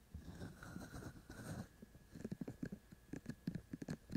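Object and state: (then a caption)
Binaural microphone with silicone ears being tapped. Both hands' fingertips and short nails scratch and tap the two white silicone ear shells of a handheld-size binaural microphone with a black body. Soft, muffled rustling scratches come first, then a run of separate dull, low-pitched taps with almost no ring.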